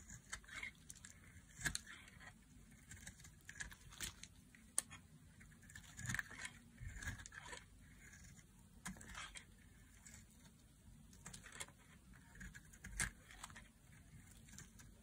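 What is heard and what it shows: A solid, dry red bar of soap is shaved into small flakes with a knife blade. Quiet, dry, bright scraping and crackly cutting sounds come in irregular short bursts, with a faint low rumble underneath.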